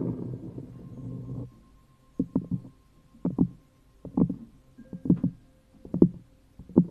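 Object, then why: Thin cork coaster on a plastic cup. A round, thin cork coaster resting on an upside-down plastic cup is scratched with the long nails of both hands. The clip opens with a continuous low, dense scratching rumble for about a second and a half. It then turns into short, separate bursts of scratching with quiet gaps between them, and a faint steady tone sits underneath throughout.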